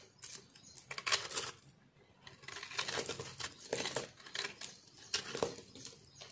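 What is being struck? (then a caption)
Bar of reshaped soap cut with a metal knife. A metal knife slices and scrapes crunchy pieces off a solid, multicolor, reshaped yellow-green speckled soap bar held in the palm. Dry, bright crunching and crackling scrapes come in quick, irregular bursts with short pauses between them, and the shaved pieces crumble away.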